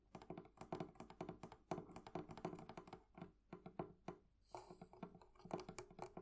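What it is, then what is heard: Metal fittings on a wooden chest. The metal fittings on a wooden thrift-shop barrel chest are tapped with nails and fingertips in quick, irregular runs. The taps are soft, short, dry clicks and light thunks with a midrange tone and almost no ring, plus a brief bright scrape near the end.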